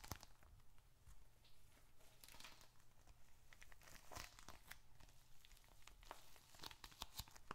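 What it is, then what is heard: Leather wallet being handled. A small dark red leather bifold wallet with paper contents is held in both hands and squeezed, rubbed and tapped with fingertips and short nails. Quiet sticky leather creaks and papery crinkling are heard, along with many short, dry taps and crackles that ring bright and stop at once, over a low steady hum.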